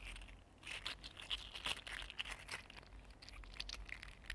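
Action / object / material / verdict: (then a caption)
scrape / 3D printed plastic articulated slug / plastic / none. A mini green 3D printed plastic articulated slug is curled and flexed between the fingers, its hollow plastic segments rubbing and clicking against each other. The result is a quiet, continuous stream of bright, dry clicks and crinkly scraping with no ring after each tick.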